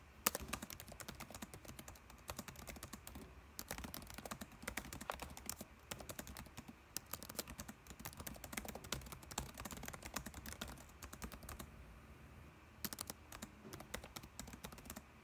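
Fingertips type steadily on the plastic keys of a dark laptop keyboard, producing a rapid stream of short, soft clicks and taps with a bright edge and a low thump beneath. The keystrokes come in quick bursts with brief pauses, each click dying away almost instantly.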